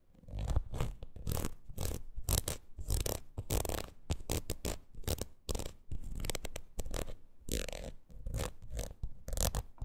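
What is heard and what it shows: Long nails scratch and tap across the ridged surface of a red rubber wood-graining rocker. The result is a quick run of dry, raspy scrapes and soft thuds with a heavy low rumble, bright scratchy edges, and no ring between strokes.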